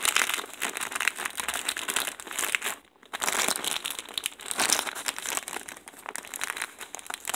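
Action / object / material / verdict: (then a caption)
scrape / plastic poly mailer bag / plastic / none. A large white plastic poly mailer envelope with a soft, stuffed package inside is pressed and handled by fingertips with painted nails on a table. The result is steady, bright crinkling with dense rapid crackles and a brief quiet pause near the three-second mark.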